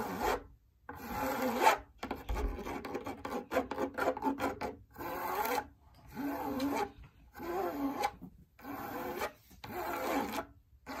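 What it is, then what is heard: Fabric drum lampshade. Long nails scratch across the surface of a large, lit, hollow cylindrical fabric drum lampshade. The result is dry, raspy rubbing in short bursts separated by brief pauses, with a mid-range scratchy tone.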